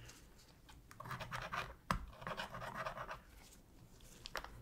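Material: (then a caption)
Plastic. A thin metal pick scratches along the seams near the D-pad of a black hollow plastic PS3 controller. Quiet, irregular bursts of scraping and scratching with bright, gritty texture, punctuated by a sharp click near the middle and another toward the end.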